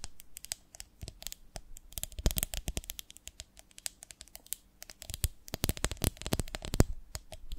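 Long nails scratch and tap across the ribbed glass of a medium beehive-shaped glass jar with a lid, full of honey. Dense, rapid clicks and dry scratching crackle through the clip, with brighter sharp taps standing out. Each tap dies away almost instantly over a soft low rumble.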